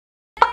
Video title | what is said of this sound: Racun Cinta: Purbasari Hi-Matte Lip Cream Swatches! | karena ini bentuknya kotak, jadi kalau ditutup tuh kayak ada bunyinya gitu